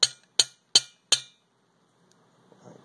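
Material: Steel.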